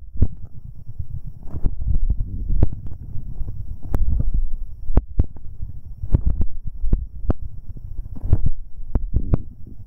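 Fingertips in rubber finger cots rub directly on the right metal capsule of a binaural microphone pair. The result is a deep, boomy rumble with muffled thumps, broken by frequent short, sharp clicks and crackles.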